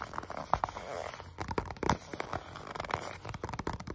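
Medium-length natural nails and fingertips rapidly tap and scratch across the front and sides of a small, hollow, white printed cardboard box, Samsung Galaxy SmartTag packaging, held in both hands close up. Quick, dry, hollow taps with a midrange knock pop out over a steady scratchy rustle, each dying away almost instantly with no ring.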